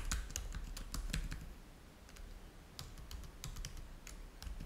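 Fingertips type on the keys of a black plastic laptop keyboard. Quick, irregular clicks with bright, sharp tops and a soft low thump fade almost at once, with a quieter pause in the middle before the typing picks up again.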